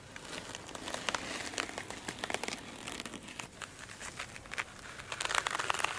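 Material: Foam.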